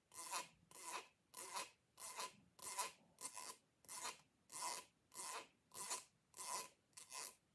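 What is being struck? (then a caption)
Ribbed plastic pop tube. Fingers and long nails rub and scrape along the corrugated ridges of a short, hollow, purple ribbed plastic pop tube held upright. The result is a steady series of dry, bright rasping strokes, each with a faint ringing tone near 1 kHz, separated by brief near-silent gaps.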